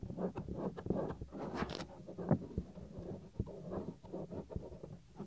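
Fingernails and fingertips scratch a small, solid, white soft silicone ear cover on a 3Dio binaural microphone. The result is close, muffled rubbing and scraping with dull, low thumps, mostly low-pitched and with little high sound.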